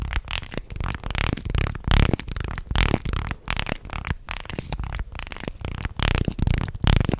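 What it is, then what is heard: Wooden articulated fish toy. A small, light-wood segmented fish toy is held close to the mic and flexed and rubbed along its slats with the fingertips. Its segments click and clatter in quick, dry, closely packed bursts. The sound is heavy in low, thumpy tones, with a rough scraping texture between the clicks.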